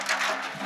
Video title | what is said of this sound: Rocket Bottle and the Holy Spirit by Objectively Cool S01-E03 | we have extra matches in there so it's a rattle